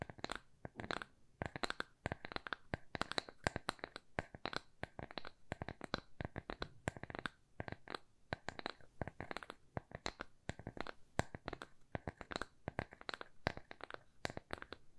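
A small, thin, solid square plywood coaster with rounded corners is held upright and tapped and scratched with long nails. The result is a quiet, rapid run of dry, sharp clicks and scratchy ticks that die away instantly, with a faint low body under bright edges.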